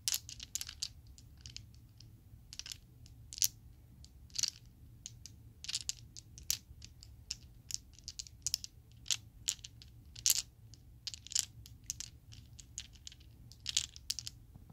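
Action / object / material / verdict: shake / plastic polyhedral dice set / plastic / none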